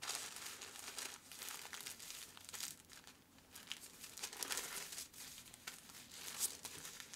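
A sheet of brown kraft paper is folded around a wrapped flat package on a cutting mat as fingertips fold the paper flaps, crease them and rub them flat. The result is a steady, bright papery crinkling and rustling, with quick crackles and scraping swells and almost no low end.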